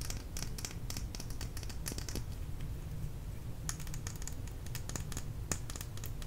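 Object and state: Plastic lip gloss tube tapped with nails.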